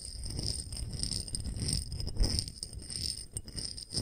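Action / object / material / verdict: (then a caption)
tap / small glass dish / glass / none. A small clear glass dish with a solid glass rim and bead feet is held edge-on and tapped quickly along its edge with a fingernail. The result is a fast, continuous patter of light clicks over a soft low rumble, with steady bright glassy ringing tones sustained above the taps.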